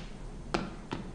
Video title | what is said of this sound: Xôi Chiên - Giòn Rụm - Không Cứng - Cách Làm Sốt Ớt Ngọt Ăn Cùng Với Xôi Ngon Tuyệt Vời | क्या आप ध्वनि सुन सकते हैं? यह बहुत कुरकुरा है